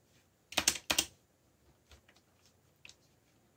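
Fingertips press keys on a backlit mechanical computer keyboard with black plastic keycaps in typing taps. A quick burst of loud, bright clicks opens the clip, followed by softer, scattered taps and a final sharp click. Each click is crisp and dies away almost at once.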